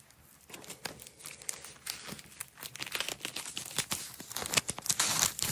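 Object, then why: Nylon hook-and-loop strap. A red nylon hook-and-loop strap, rolled into a coil, is rolled by hands with long nails and has its layers peeled apart. The result is a quick run of bright, dry tearing and crinkling rips, mostly high in tone, that build up toward the end.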